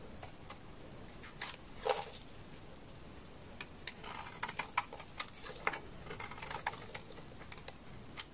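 A hand-sized, solid, dark red translucent glycerin-type soap bar held in the hand is shaved with a utility knife blade, peeling off curls. Quiet, dry scraping strokes come in irregular bursts, with sharp, bright crackling ticks rising above a low background hiss.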